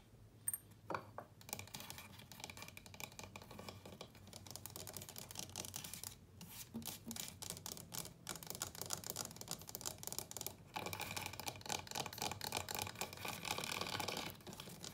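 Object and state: Small wooden chest of drawers, tapped and scratched.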